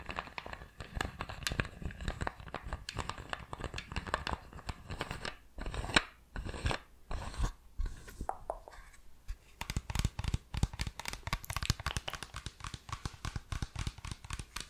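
Fingertips scratch and squeeze an empty-looking clear PET plastic water bottle with a green screw cap, producing dense, rapid crinkling and crackling. The sound comes in bursts of sharp, dry ticks over a low, thumping body, with brief quieter gaps before the crinkling resumes.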